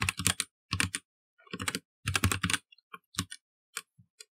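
Fingertips of both hands type steadily and fast on a black, partly lit plastic mechanical computer keyboard with plastic keycaps. Dense bursts of sharp, bright clacking keystrokes with a low thock underneath are broken by short pauses. Toward the end they thin into a few separate key presses.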